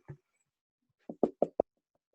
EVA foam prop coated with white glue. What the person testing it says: it creates a nice hard shell, which I'm going to try and put this near my microphone. You hear that tapping. That makes a nice solid layer